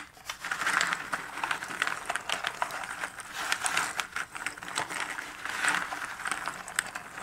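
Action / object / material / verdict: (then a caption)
scrape / cardboard jigsaw puzzle pieces in a cardboard box lid / cardboard / none. Fingertips sweep and stir many small cardboard jigsaw puzzle pieces across the bottom of a shallow cardboard box lid. The result is a steady, dry rustling and crinkling, full of quick papery clicks and ticks. It sits mostly in the upper midrange, with bright edges and almost no low end, and swells in waves as the pieces are pushed around.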